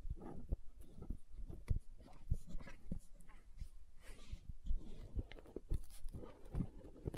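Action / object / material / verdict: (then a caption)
tap / plastic gel jar with lid / plastic / none. Long nails tap and scratch the lid and side of a green plastic aloe gel tub with a lid. Quiet, dull, close taps come in a steady irregular stream, mixed with soft scratchy rubbing between them.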